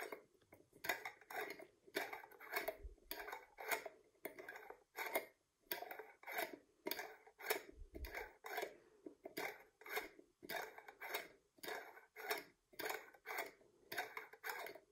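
A hand holds a medium, full glass jar of gherkins while the fingertips and long nails of the other hand twist and unscrew its purple metal twist-off lid. The result is a quick, irregular series of short grinding and clicking bursts with almost no ring, mostly mid-range with some bright edges.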